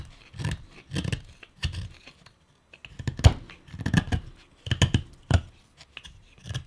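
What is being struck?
Wooden pipe bowl blank.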